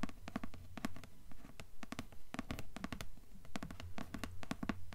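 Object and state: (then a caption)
Cardboard hardcover book cover. Long nails tap and scratch a dark grey cardboard hardcover book cover in a quick, fairly steady rhythm. Each tap is a short, dry click with a bright top and a soft low body, dying away almost instantly, with faint scratching between the taps.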